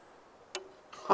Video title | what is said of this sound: Ottoman Short Sipahi Hybrid Plus by Simsek Bows - Review | Knocks nicely, slides in around, but that's not a big thing.